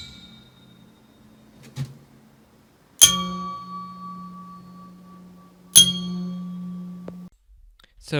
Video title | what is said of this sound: VW VANAGON/T3 WBX Engine rebuild PART 3(Headstuds) | the left one rings for a longer time compared to the right one